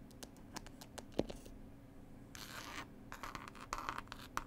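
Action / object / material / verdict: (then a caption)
scrape / cloth-covered board CD case / cloth over board / none. Long pointed white acrylic nails scratch and tap across a book-style Passenger "Whispers" CD case, a flat, rigid case of green linen-textured cloth over board with a pasted illustrated paper label, lying on a table. Quick, dry taps and rasping scratches come in uneven bursts over a faint low hum, with one sharper knock near the start and a longer bright scrape midway. The clip ends in a flurry of brisk scratchy taps.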